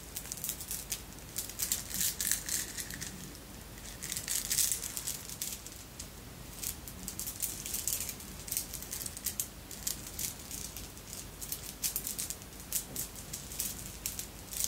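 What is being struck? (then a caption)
Glass bead necklace with metal links. A necklace of red and clear beads, apparently glass, with metal links, is bunched in cupped palms and shaken or rolled so the beads rattle. Dense, quiet, bright clicking and crinkly rattling comes in bursts with almost no ring after each tap, over a faint low hum.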